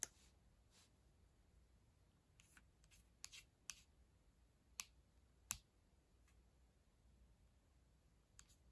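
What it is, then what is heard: Plastic laptop keyboard. Long acrylic nails type and tap on the plastic keys of a black ThinkPad laptop keyboard near the touchpad. Six sharp, bright clicks stand out over faint, scattered ticking, each dying away almost instantly against a quiet background.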